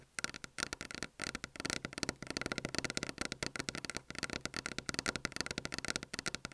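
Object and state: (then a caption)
Desk top tapped with fingernails. Long fingernails on both hands tap and lightly scratch a solid, flat white desk top, recorded by an Apple earphone mic lying on the desk. Dozens of rapid, sharp, bright clicks come in uneven bursts, each dying away instantly with no ring.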